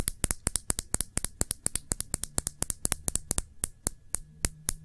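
A small, full glass nail polish bottle with a black cap is held upright and tapped with fingertips and long nails. About 33 sharp, bright clicks come in an uneven rhythm, each dying away almost at once, over a faint low hum.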